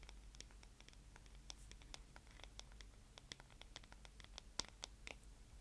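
Fingernails scratch and tap the smooth, solid wooden back and handle of a paddle hairbrush held up close to the microphone. Quiet, dry, sharp clicks and short scratches with a bright edge follow one another unevenly over a steady low hum. Each sound stops almost instantly with no ring.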